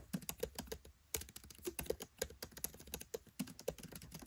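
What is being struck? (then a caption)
Laptop keyboard with plastic keycaps. Fingertips type rapidly on a MacBook Pro 13 keyboard with black plastic keycaps set in an aluminium body. A fast, uneven stream of short, dry clicks and taps stops almost instantly after each keystroke, with a mid-pitched knock and a bright clicky edge.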